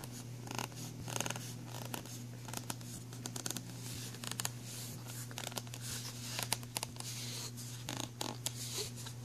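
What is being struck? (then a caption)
Ridged plastic pencil tray. Fingernails scratch along the grooves and raised textured edge of an empty black ridged plastic pencil tray. Quick, bright, rasping scrapes come in short bursts over a steady low hum.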